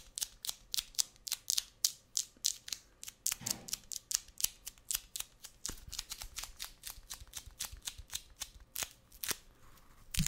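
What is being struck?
Roll of kraft paper packing tape on a cardboard core.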